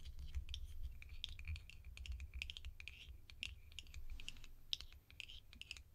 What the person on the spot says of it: These lids make delicious tapping sounds.